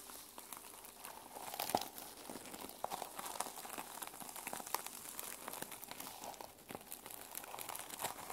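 Long nails scratch across the plastic sequin cover of a held-up mermaid sequin journal, flipping the sequins back and forth. It makes a steady, quiet stream of dry crinkly clicks and rasps, with a mid tone and bright ticks but almost no low end. Each tick stops almost instantly, with one louder burst near the two-second mark.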